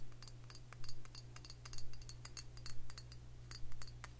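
Long fingernails tap and scratch a round glass liquor bottle with a metal cap, filled with dark liquid. Quick, bright clicks and ticks come in a loose, fairly steady rhythm and die away almost instantly. A constant low hum runs underneath.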